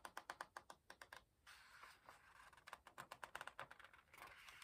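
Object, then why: Paper page of an open hardcover book. Fingertips hold a paper page of an open hardcover book upright and flick and rub its edge. Quick runs of crisp, dry ticks centred around 1.5 kHz alternate with stretches of soft, bright papery rustling. Each tick dies away almost instantly, leaving a quiet, close, delicate texture.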